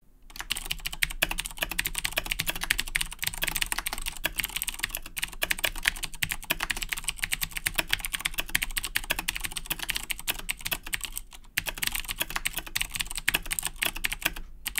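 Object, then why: Plastic mechanical keyboard with clicky switches. Fingertips of both hands type continuously on a full-size black Razer Blackwidow 2010 Edition mechanical keyboard with plastic keycaps and Cherry MX Blue switches, resting on a wooden desk. A rapid, steady stream of bright, clicky key taps with short, sharp attacks fills the clip, with a brief pause near 11.5 seconds before the typing resumes.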